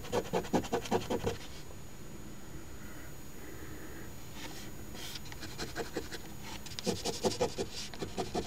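The edge of a coin held in the fingertips scratches the coating off the crossword letters of a flat paper OLG Ontario Lottery $10 Crossword Deluxe instant scratch ticket (#3354) lying on a table. Quick, raspy scraping strokes come in rhythmic bursts at the start and end, with a quieter pause in the middle.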